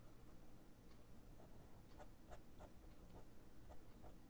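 A hand draws with a fine-tip pen on a thin white paper sheet of a spiral-bound sketchbook lying flat, scratching ink lines across the page. Soft, short scratchy pen strokes come and go over a quiet, low background hum.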